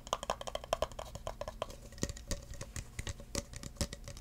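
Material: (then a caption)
Plastic. An empty clear plastic cup is held sideways while fingertips rub and tap its rim and sides. The result is a rapid series of short, dry, hollow taps with a light plastic ring around 650 Hz, mixed with soft rubbing between the taps.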